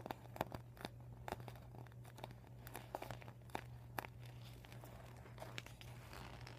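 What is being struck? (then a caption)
Folded vinyl beach ball. Short painted nails scratch and tap the vinyl panels of an empty, folded, deflated PVC vinyl beach ball. Soft crinkling and scraping are broken by sharp, dry taps that stop instantly, over a steady low hum at a quiet level.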